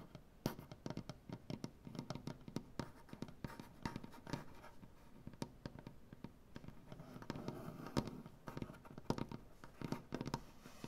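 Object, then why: Wooden butcher block tabletop. Long dark-painted nails scratch and tap across a solid light wood butcher block tabletop. Quick, dry, woody ticks and scrapes follow one another closely, dull and low in tone with little ring.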